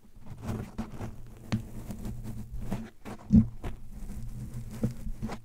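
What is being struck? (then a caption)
Foam microphone windscreen. Fingertips and nails tap and scratch the soft, porous black foam windscreen on a handheld microphone held in both hands. The result is a steady run of muffled, close-up scratching and rustling, broken by soft thuddy taps with a low, boomy body and almost no high-end crispness.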